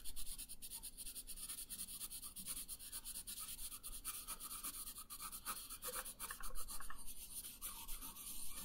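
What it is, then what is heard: Colored pencil on paper. A green wooden colored pencil rubs across a thin paper coloring sheet resting on a wooden table in light coloring strokes. It makes a quiet, steady, bright scratching hiss with a faint low rumble underneath. The strokes run together into a continuous, soft rasp with small swells in level.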